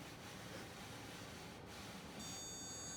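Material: Nothing is struck.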